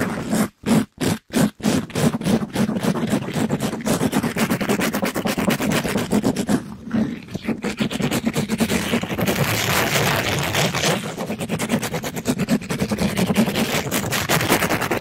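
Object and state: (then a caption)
Mesh scrub sponge rubbed on a microphone. A soft pink sponge with a glittery plastic-mesh cover is rubbed fast over the top and side of a microphone by a gloved hand. It makes a continuous rough, rapid scratching and scraping with dense repeated strokes, broken by a few short gaps near the start.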